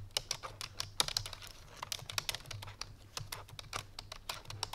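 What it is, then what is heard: Plastic computer keyboard being typed on. Fingertips and painted nails of both hands type quickly on a full-size black plastic computer keyboard resting on a white fur rug. The result is a rapid, uneven stream of short, bright clicky key taps that die away almost instantly, over a faint steady low hum.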